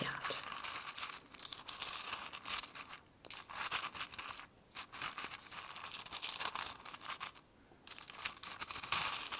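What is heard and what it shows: A fingertip scratches and rummages through dried cardamom pods in a small, open, clear glass jar filled with them. It makes a dense, bright, dry crackling and rustling with no low end, broken by brief near-silent pauses around 3, 4.5 and 7.5 seconds before the rummaging resumes.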